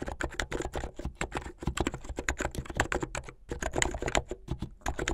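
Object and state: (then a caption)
Plastic mechanical keyboard. Fingertips with long painted nails type fast on a full-size plastic mechanical keyboard with white and blue plastic keycaps and a blue backlit case, its hollow keycaps clacking on their switches. A rapid, steady stream of short, dry clicks with a low thock under each one rattles on, dipping briefly in a short pause before the fast typing resumes.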